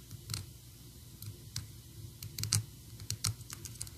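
Long orange and black acrylic nails tap and scratch a small, solid, painted PVC Sadness figurine on its sweater and head. Quiet, irregular clicks come through with bright, high ticks over a soft low thump. Each tap dies away almost at once, with faint scratching between them.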